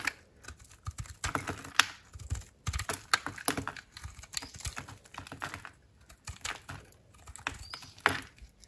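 A utility knife blade slices crunchy slabs off a dry, white-core soap bar with an orange glitter coating, held in the palm. A rapid, uneven series of dry, crackly cutting and scraping crunches is heard, each bright and very short with almost no ring, over a quiet background.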